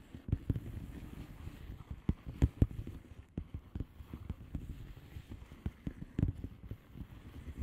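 Long fingernails of both hands tap and scratch a flat blue plastic bubble wrap padded envelope with air-filled bubbles. Soft, dull taps with a quick decay stand out over a steady low scratching rustle. The sound is quiet and muffled, mostly low with almost no bright content.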